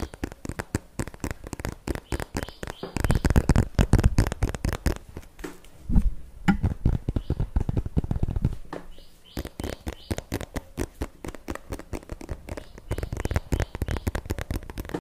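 A small white and green plastic squeeze tube of cream, held upright in both hands, is tapped and scratched with long fingernails. The result is a steady stream of quick, dry clicks and taps mixed with scratching, with denser, heavier bursts of scratching between them.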